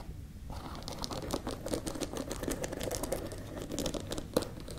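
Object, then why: Wooden hairbrush with bristles. Long nails scratch and tap a hand-sized wooden paddle hairbrush with dense dark bristles and a solid wood body, held close. After a brief quiet start, a steady stream of crisp, crinkly scratching fills the clip, dotted with short dry taps, one sharper tap standing out near the end.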